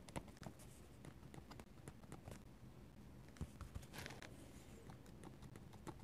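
A metal-nib dip pen scratches lines onto a paper sketchbook page. Quiet, dry scratches and short ticking strokes come one after another, with a brief brighter scraping burst partway through. A low, steady rumble sits underneath.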